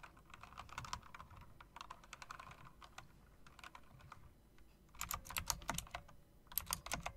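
Fingertips with long dark nails press and tap the round, chrome-rimmed keycaps of a backlit plastic and metal typewriter-style mechanical keyboard. Quick, bright clicks patter in uneven bursts over a faint low background hum. A louder, sharper cluster of clacks arrives near the end.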